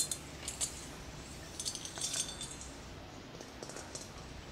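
A large, hollow, clear glass plasma ball is tapped with fingertips and short nails. Quiet, bright clinks come at irregular intervals, each ringing only briefly, with a high tone over a low background hiss.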